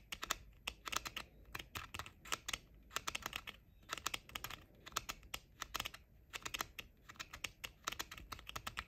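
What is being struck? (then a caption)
Plastic over-ear headphone shells. Short painted nails tap rapidly on the flat outer shells of pink plastic JBL over-ear headphones, with the ear cups held close together. The result is quiet, bright, dry clicks in quick bursts and clusters, each tap dying away almost instantly, much like typing on a keyboard.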